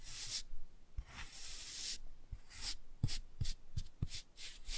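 A black toothbrush brushes and scrubs the glossy cover of a laminated cardboard board book held upright. The result is a series of bright, hissing scratchy strokes with soft low thumps as the bristles catch.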